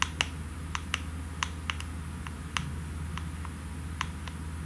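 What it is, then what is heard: Aerosol can with plastic cap, tapped. Long nails tap the white plastic cap and the body of a pink aerosol can, making sharp, bright clicks spaced irregularly over a few seconds. Each tap is short and dry with almost no ring, over a steady low hum.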